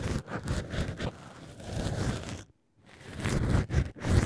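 A black ear pick with a brush tip scratches and rubs inside the drilled hole of a solid cork wine-stopper shaped like an ear. The result is a close, dense rustling and scraping with a low, muffled body. Brief brushy strokes run throughout, with a short silent pause partway through before the rubbing resumes.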